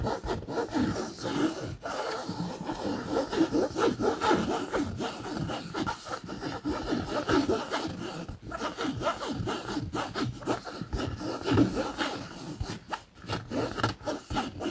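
Fingernails scratch the surface of a camouflage polyester fabric bag in quick, uneven back-and-forth strokes. The result is a steady, dry, rasping scratch with a papery midrange texture and a soft bright hiss, broken by a few brief pauses.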